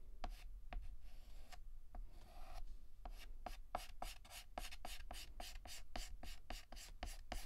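Fingertips hold a stick of yellow chalk and shade a petal on a solid, flat black chalkboard with rapid, short back-and-forth scratches. The sound is a quiet series of dry, gritty strokes, each a brief bright rasp with a faint midrange squeak. After a few uneven strokes and a longer rub near the start, the scratching settles into a steady, quick rhythm.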